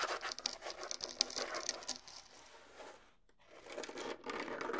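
Fingertips and nails scratch across the pale rawhide heads of a pair of small, hollow bongo drums. The result is a dense, crinkly, bright scratching with almost no low end. It fades to a brief lull past the midpoint, then picks up again.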